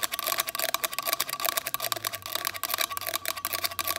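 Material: Plastic.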